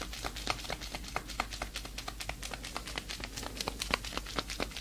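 Hands in black leather fingerless gloves, with long nails left free, flex and rub close up, making the leather creak and crinkle. The result is a rapid, irregular stream of short, bright crackles and squeaks over a faint, steady low hum.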